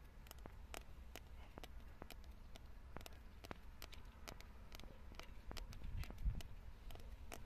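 Long nails tap and scratch the rough surface of a weathered grey concrete block with a hollow cavity, sitting among plants. Quiet, sharp, irregular clicks and ticks sound over a steady low rumble, with soft scratching between the taps.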